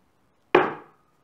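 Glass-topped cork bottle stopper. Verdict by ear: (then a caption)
Heavy. The heavy glass-topped cork stopper of a Glengoyne 25 Year Old whisky bottle is knocked once on a surface to show its weight. It gives a single sharp, solid knock with a brief mid-pitched ring that fades within about half a second. The stopper is not as heavy as another brand's but still heavy.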